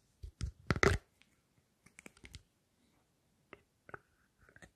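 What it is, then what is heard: Plastic spray bottle. Long fingernails tap and click on a clear plastic spray bottle with a blue plastic cap, medium size, hollow and partly filled with clear liquid, held in front of a stereo microphone. Short, crisp plastic clicks and knocks come in irregular clusters, loudest and most crunchy near the start. Later taps are softer, with a faint high ring after a few of them.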